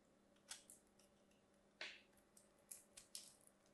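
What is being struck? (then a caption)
Bar of soap carved with a metal blade. A solid, hand-sized orange-and-white striped bar of soap is held in the hands and carved with a thin metal craft blade. Short, bright, crisp scraping cuts come in irregular bursts over a quiet background. Crumbly flakes pile onto the bar.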